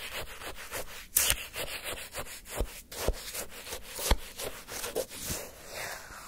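A wooden spoon is pushed into a full cup of orange granular sherbet shaved ice and scraped through the icy crystals again and again. The result is a steady, crunchy, bright scraping with quick crackling rasps. Three sharper, louder jabs stand out above the rest.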